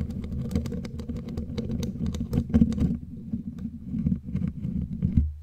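Long glittery claw nails scratch and tap the bare black metal mesh grille of a studio microphone, close up. A steady low, boomy rumble with a humming tone runs throughout, broken by rapid, dry, bright ticks and taps that cluster densely early on and thin out toward the end.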